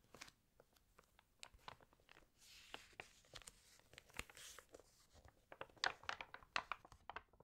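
Fingertips rub across the spread of an open, water-damaged glossy paper fashion magazine, and nails lift a page to turn it. Many quick, crisp crinkles and scratchy rustles come in uneven bursts, bright and airy with almost no low end. A few louder crackles stand out near the end as the page turns over.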